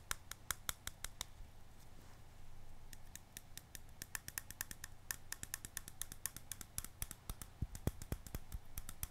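Fingertips and nails tap and scratch the white plastic lid and sides of a small round glass jar held in the hands. Crisp, sharp clicks come in quick, irregular bursts of about four per second, with a brief stretch of softer scratching near the two-second mark. A low, steady hum sits underneath throughout.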